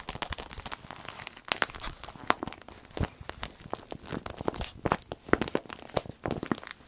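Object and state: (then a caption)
Vinyl pouch, scratched and crinkled. A small striped vinyl zip pouch is held up close while long nails scratch across the vinyl and squeeze it. Dense, rapid crinkles and sharp scratchy clicks follow one another quickly with brief pauses, giving a bright, crackling texture like light rain.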